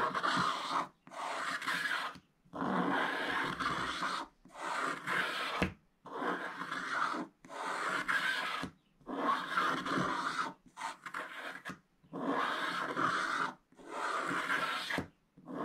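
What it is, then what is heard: Scratch-art card being scraped. A wooden stick drags diagonal strokes across a thin black-coated scratch-art card page, exposing the purple layer beneath and leaving black debris on the surface. Each stroke is a dry, gritty rasp, and the strokes come in a steady series separated by short silent pauses.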